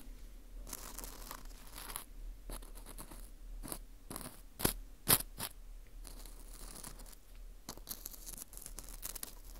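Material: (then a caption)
Wheat gluten. A thin metal pick scratches and pokes into the hole of a dry, porous ring of dried wheat gluten (fu) held in a gloved hand. Quiet, irregular bright crackles and crunchy scrapes come in short bursts over a steady low hum. Two sharper, louder crunches stand out near the middle.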